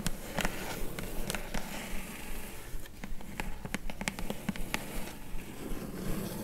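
Long glittery acrylic nails tap and scratch across the top of a flat, hollow, closed kraft-brown corrugated cardboard mailer box lying on a fur rug. The result is a quick, uneven run of dull, hollow taps with short, bright clicks over a soft, steady scratching rustle.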